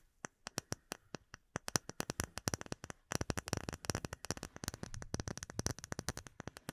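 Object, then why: Small clear acrylic plate. A small, solid, rectangular clear acrylic plate with embedded bubbles is held in both hands and tapped with long nails. Sharp, dry, bright clicks with almost no ring come slowly and evenly spaced at first, then speed up into quick, dense flurries of taps.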